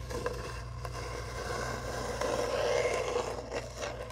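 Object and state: Cardboard tube being scratched.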